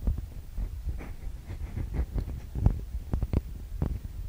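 Long nails and fingertips tap and scratch the metal-grille microphone capsules of a TASCAM DR-40X recorder. Close-up, the sound is a steady run of soft, dull, low thuds with almost no ring. A faint scratchy rustle sits between the taps.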